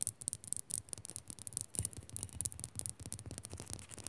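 Fingers quickly scratch and tap a rock salt lamp. A rapid, continuous run of crisp, bright scratches and short taps sounds over a soft low thud.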